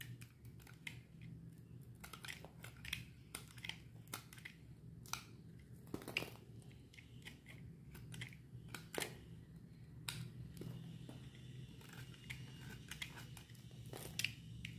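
A solid white bar of dry soap, held in the hand, is scraped with a metal utility knife blade, and powdery crumbs fall away. The clip is a quiet, steady run of short, dry, crisp scraping ticks with bright edges and almost no ring, over a constant low hum.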